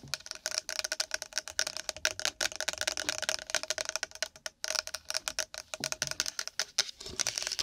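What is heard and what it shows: A pack of nori seaweed in its packaging is tapped and scratched quickly with long nails. The result is a dense run of sharp, dry clicks and crinkly scratches, bright and crisp, with almost no low end.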